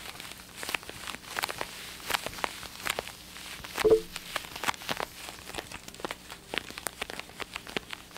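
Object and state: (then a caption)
Plastic headphones. Black and blue plastic over-ear gaming headphones with hollow ear cups are tapped and scratched with fingertips and nails while held near the microphone. The clip is a quiet run of rapid, dry clicks and crackly scratches with short hollow knocks, peaking in a louder knock near the middle.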